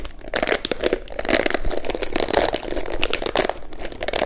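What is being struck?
Plastic hairbrush.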